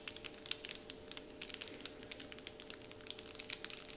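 Fingertips with short painted nails scratch and crinkle a large, flat, heart-shaped printed "Dove" wrapper sheet lying on a wooden table. The result is a quick, steady run of sharp, bright ticks and crackles with almost no low end, each snap dying away almost instantly over a faint steady hum.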